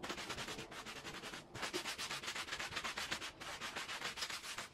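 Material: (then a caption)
Fabric. A green plastic-bristle push broom scrubs a small oval, red patterned, fringed woven fabric rug that lies wet and foamy on the floor. Quick back-and-forth strokes, about four per second, make a bright, wet, bristly hiss with little low end. There are short breaks near 1.5 and 3.4 seconds.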